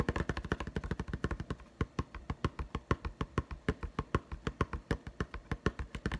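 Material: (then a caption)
Plastic. Fingertips tap very fast on a clear plastic blister pack holding a yellow-green putty egg. The taps land as a rapid stream of short, dry plastic clicks with a low thump and almost no ring.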